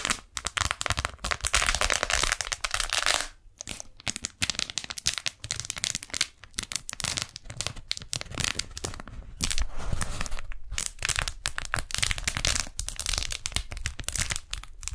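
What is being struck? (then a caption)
Beeswax-coated cotton food wrap. A pink strawberry-print beeswax-coated cotton food wrap is held close to the microphones while long nails and fingers peel its stuck folds apart. Dense, bright crinkling and sticky tearing crackles run continuously, with brief quiet gaps and a soft low rumble underneath.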